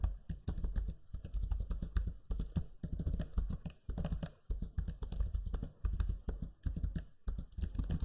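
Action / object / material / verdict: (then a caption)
tap / plastic laptop keyboard / plastic / none. Fingertips type steadily on the low-profile plastic keys of a backlit black Lenovo Legion 5 laptop keyboard. The keys give a rapid stream of soft, dull clicks and taps with brief pauses between bursts, each keystroke dying away almost instantly.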